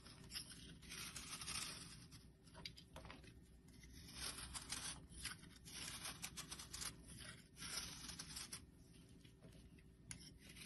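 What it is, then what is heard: Bar soap scraped with a blade. A flattened bar of solid yellow soap, held in the hand, is scraped with a metal blade. The result is a bright, crackly scraping with a papery, tearing texture that swells and fades in uneven bursts over a soft low hum.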